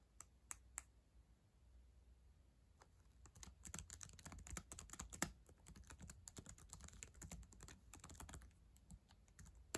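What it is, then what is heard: Plastic laptop keyboard. Long acrylic nails and fingertips type on the plastic keys of a black ThinkPad laptop keyboard, a solid device. A few sharp, separate clicks open the clip. Then comes a quiet, fast run of crisp, bright tapping with a soft low rumble underneath, and each click dies away almost at once.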